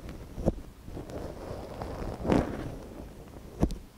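A thin wooden stick, held by gloved fingers, scratches inside the canal of a small, soft silicone ear on a binaural microphone. The sound is close and muffled, with low, dull rustling and scraping. Three sharper scrapes stand out, near 0.5, 2.3 and 3.6 seconds.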